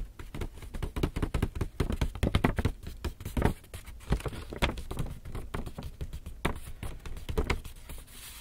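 Fingers tap and scratch with their nails on the paper surface of an empty, hollow black Lush paper shopping bag held in front of the body. The result is a rapid, uneven patter of short, dull, low-heavy taps that die out almost instantly, mixed with faint papery scratching, with louder clusters of taps rising and falling throughout.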